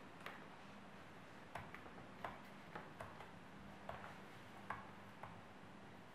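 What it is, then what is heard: Apple skin scratched with fingernails. Very long, sharp, curved purple natural nails scratch and dig into the skin of a whole, solid, fist-sized red-yellow apple held in both hands, leaving marks. Nine short, sharp, bright clicks with a quick decay come at irregular intervals over a quiet, steady low hum.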